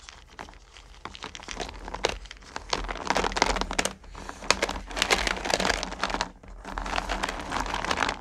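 Both hands scoop up small solid candy corn pumpkins and drop them back into a purple plastic bucket, rubbing them together. Dense bursts of bright clicking, rattling and crinkly clatter come in waves, with brief quieter gaps between the scoops.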